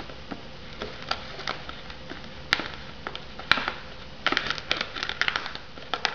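Long nails tap and scratch the lid and rim of an unopened, hollow white polystyrene instant noodle cup still shrink-wrapped in plastic film. Quiet, dry clicks and crinkly scrapes scatter through the clip, with two sharper, louder taps in the middle and a denser flurry of bright ticking near the end. Each sound dies almost instantly, with no ring.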